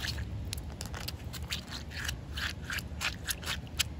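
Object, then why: Concrete slab. Short painted fingernails scratch and rub across a large, solid outdoor concrete slab that is wet with a pale residue. The result is a string of quiet, gritty scraping bursts with a bright, hissy edge, over a steady low rumble.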